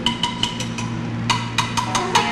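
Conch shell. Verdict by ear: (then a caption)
Hard. A conch shell, a hard calcium shell that grows in the ocean, is tapped ten times in a quick series of sharp clicks that ring briefly. The taps have a glass-like tone with a clear pitch near 840 Hz and bright overtones, over a steady low hum.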